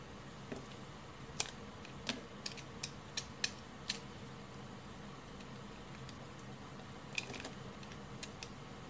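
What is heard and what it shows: A red-handled utility knife blade carves chunks and shavings from the edge of a solid cream bar of hard Lux soap held in the hand. Each scraping cut is a short, crisp, bright crack, with the cuts clustered early and again near the end. A steady low hiss runs underneath.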